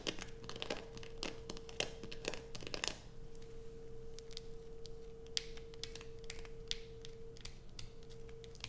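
Long white nails scratch the carved surface of a solid blue bar of soap held in the hands, making quick, dry, crackly scrapes with bright, high-pitched grit. A dense run of scratches in the first three seconds gives way to sparser strokes, over a steady faint hum near 470 Hz.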